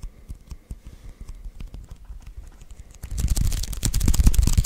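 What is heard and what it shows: Fingertips press and slowly peel on the white adhesive paper roll of a handheld lint roller. Soft, sticky taps and crackles come first, then after about three seconds the peeling turns louder and denser, with a bright crackle over a low thump.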